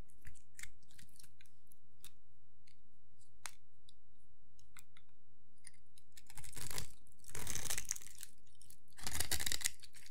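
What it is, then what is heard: Dry soap bar being shaved. A solid rectangular bar of dry green soap is held in one hand and scraped along its face with a metal blade, curls falling onto a pile of soap shavings. Sparse crisp ticks and short scrapes give way to three longer, louder bright scraping passes near the end.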